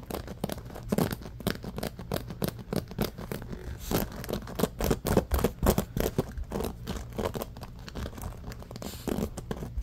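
Fingertips scratch fast across the pins of a bamboo paddle hairbrush with a black rubber cushion, first while it is held and then once it is set on a blanket. The result is a dense, irregular stream of quick, dry, crinkly scratching bursts with a heavy low-end thump and little brightness. The strokes blur together in uneven clusters at a moderate level throughout.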